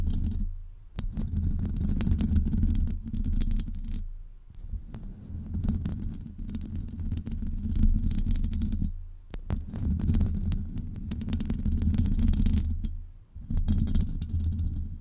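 Long acrylic nails scratch and rub the hollow metal mesh grille of a USB microphone, with ringed fingers resting on it. The result is a dense, rumbling low scrape with fast, irregular crackly ticks, broken by a few brief pauses.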